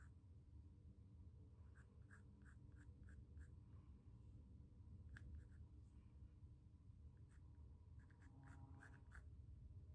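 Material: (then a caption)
Cotton canvas. A pencil draws and scratches lines across the weave of a small square white stretched cotton canvas panel. Quiet, scratchy strokes come in short clusters of brief, bright ticks over a steady low rumble.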